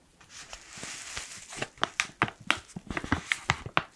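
The top edge of a black foil coffee pouch is pinched, crushed and crinkled with fingers. A soft, bright rustling hiss builds over the first second, then gives way to about ten sharp, dry crackles, each snapping off almost instantly.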